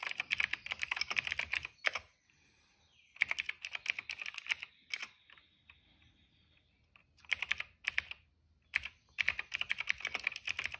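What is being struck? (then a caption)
Plastic mechanical keyboard with plastic keycaps. Fingertips type in quick bursts on a cream plastic retro mechanical keyboard with plastic keycaps and a hollow case. The keys give bright, sharp clacks that stop dead, with short quiet pauses between the runs of typing.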